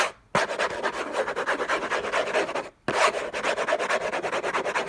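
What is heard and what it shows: Fingertips and nails scratch and rub fast and hard over a hollow, rigid cardboard gift box covered in orange textured paper. The result is a dense, dry, rasping scrape in two long bursts, separated by a brief silence. The scratching is mostly midrange and fairly bright, with almost no low end.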